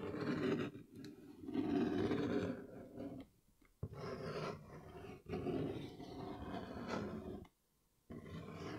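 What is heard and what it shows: A brown, medium-sized, hollow cardboard Yeezy 350 shoe box is held up while fingertips tap and scratch its flat lid. The sound is a dull, low-mid rasping and scuffing in several bursts, separated by brief near-silent pauses.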